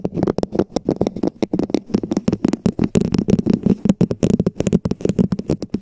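Long nails and fingertips tap and scratch a hollow red plastic dome cap placed over a Blue Yeti microphone, making a quick run of 33 sharp clicks over about six seconds. Each hit has a hollow, low plastic knock around 200 Hz and dies away almost at once, with light scraping between the taps.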